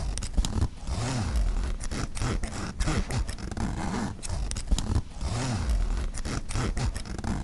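Fingers slide the metal pull of the front-pocket zipper back and forth across a black mesh nylon backpack. The result is a steady run of rough, ratcheting zip strokes with a heavy low rasp and sharp clicks of the teeth throughout.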